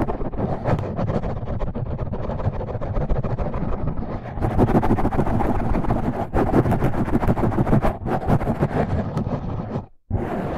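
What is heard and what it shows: Fingertips and short nails of both hands scratch and rub the sides and top of a dark, rounded, hand-sized foam windscreen over a microphone. The result is a dense, continuous rustling and scratching that is heavy in the low end, growing louder and brighter after about four and a half seconds. It cuts out briefly just before the tenth second, then resumes.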